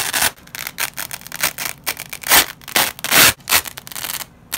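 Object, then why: Nylon hook-and-loop strip. A nylon velcro strip, yellow loop side and white hook side, is ripped apart by black-gloved fingers. It gives a series of bright, raspy tearing bursts at an uneven pace, some short and some drawn out, each with a crackly texture and almost no low end.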